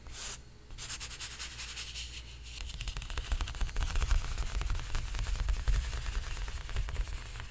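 Fingertips tap quickly on the taut surface of a large painted canvas stretched on a frame. Each tap gives a deep, drum-like thump with a short bright click, and the taps roll irregularly and grow louder partway through.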